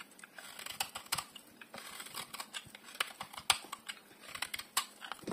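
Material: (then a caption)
Soap. A solid, hand-sized bar of dry yellow soap, held in one hand, is scraped and carved with a metal utility blade. The result is a quick, uneven series of short, crisp, bright shaving scrapes and ticks, with almost no low end and no ring after each cut.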